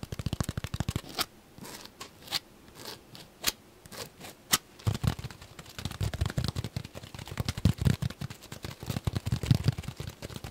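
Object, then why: Foam sponge. A solid, palm-sized yellow porous foam sponge is held close and rapidly scratched and tapped with short fingernails and fingertips. A quick burst of soft, muffled taps opens the clip, followed by a sparser stretch of scattered crisp clicks and light scratches. Then a dense, continuous run of fast tapping and scratching with deep, padded thumps under bright, dry clicks carries through to the end.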